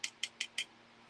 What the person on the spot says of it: Sounds like plastic. Yeah, he's definitely plastic.